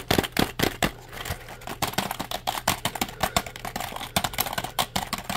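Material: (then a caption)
Plastic. A black plastic compact keyboard is held upright while fingertips rapidly press and tap its keys. The result is a fast, uneven stream of short, dry clicks and taps with little ring. A faint low hum sits underneath.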